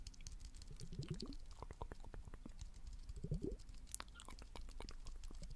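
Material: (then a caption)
Glass. A small blue liquid-filled glass facial ice globe is held steadily in the hand while fingernails tap rapidly on its curved surface. The many quick, soft, muffled taps sit mostly in the low range, with brief gurgling swells from the liquid inside rising in pitch around the first and third seconds.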